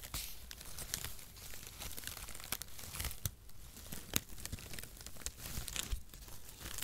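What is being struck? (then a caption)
Shredded cardboard packaging. A light, hollow bundle of thin zigzag-cut cardboard packaging shreds is held in both hands in front of the microphone while fingertips crumple and tear through the strands. A continuous dry crinkling and rustling fills the clip, broken by sharp, bright snaps and crackles as the strands rip.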